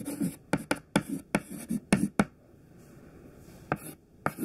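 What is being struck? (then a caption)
White chalk on a chalkboard. A short, thin stick of white classroom chalk held in the fingertips writes on a black chalkboard, making about ten sharp taps and scraping strokes with a low, woody knock under a bright edge. The strokes come in quick bursts, then a near-silent pause with faint hiss, followed by two more taps.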